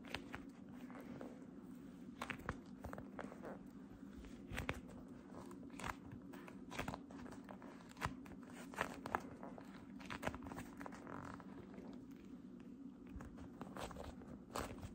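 Light-blue cotton candy cloud slime is stretched, then gripped and squeezed tightly in both hands with long red nails. The clip carries a steady low hum under many soft, crackly crunches and pops, with a few sharper snaps standing out.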